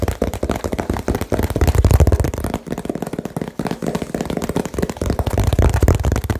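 A small hollow cardboard box with blue tape is tapped very fast with fingertips and nails. It gives a dense, irregular stream of short, dull, low thumps with almost no ring and very little bright content. The tapping swells louder around the middle and again near the end.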